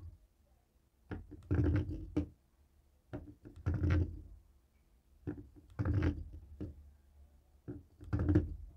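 A jade roller stone taps and rolls across the buttons of a dark grey plastic cable TV remote resting on a wooden table. It makes short, dull clicking taps and rolling rattles in four bursts about two seconds apart. The sound is mostly low and thuddy, with quiet pauses between the bursts.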